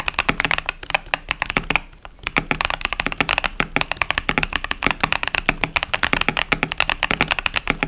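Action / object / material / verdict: tap / plastic mechanical keyboard with plastic keycaps / plastic / none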